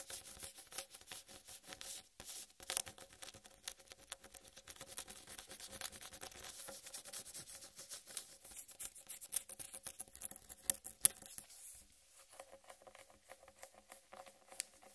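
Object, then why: Whole watermelon rind. Long red nails tap and patter rapidly on the rind of a large, solid whole watermelon, making quiet, bright, crisp clicks with a faint steady low tone beneath. Near the end the tapping thins out as the hands hold the melon's sides, leaving softer, scattered sounds.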